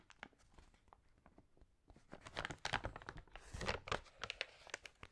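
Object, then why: Glossy paper magazine pages. Fingertips rub and turn the pages of an open glossy paper magazine whose thin pages have been sprayed with water and dried wavy. Soft, scattered crinkles build after about two seconds into louder, denser crackling and rustling with bright, sharp edges.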